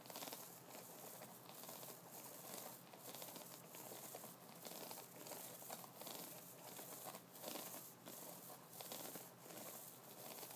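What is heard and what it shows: Fingertips of both hands scratch the white bristles and wooden nubs of an upright wooden brush. The result is a steady, crinkly, bright scratching that swells in repeated short bursts, with little low end.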